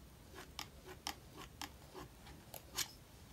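A metal palette knife spreads and scrapes thick wet acrylic paint across the right-hand page of an open paper sketchbook lying flat on a wooden table, reworking an abandoned page. Five short, bright scraping strokes stand out over a quiet background, each dry and quickly fading, with fainter rubbing between them.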